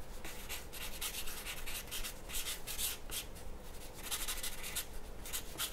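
A graphite pencil draws strokes across a large, flat white paper sheet resting on a wooden table. The scratching and rubbing come in irregular, bright, hissy bursts over a steady low rumble.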